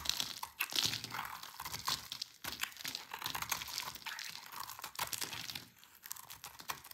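A utility knife blade cuts long strips off a dry, solid rectangular green soap bar held in the hand. Dense, crisp crunching and scraping sounds bright and dry, coming in continuous runs with brief pauses between cuts.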